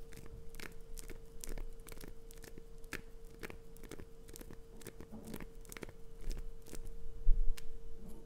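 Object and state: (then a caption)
Glycerin soap bar being scratched. Long fingernails scratch and carve the scored surface of a hand-sized solid green glycerin soap chunk held in the palm. Quick, dry scratching and crunching clicks sound throughout over a steady low hum. The scraping grows louder toward the end.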